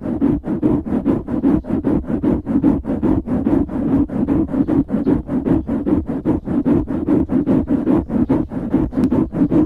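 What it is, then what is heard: Foam microphone windscreen being scratched. Fingertips scratch the sides of a black foam windscreen on a microphone. The result is a rapid, steady run of about forty short, dull rustling scrapes, roughly two to three per second. Each scrape is a muffled, close-up burst centered in the low mids with little high end.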